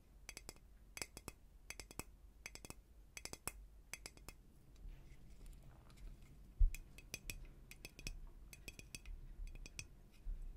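A glass dome flower cloche, a hollow glass dome over flowers on a wooden base, is held in the hand and tapped on the glass with fingernails. The result is quick clusters of light, bright clicks and clinks with very short ring, separated by soft handling noise.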